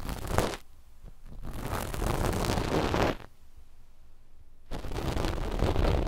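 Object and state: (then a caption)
Knit fabric scratched with cotton swabs. Two cotton-tipped swabs, one in each hand, scratch a flat, dark knit fabric sheet stretched over microphones. The result is three bursts of soft, dense, rustling scratches with a heavy, muffled low end, separated by quiet pauses.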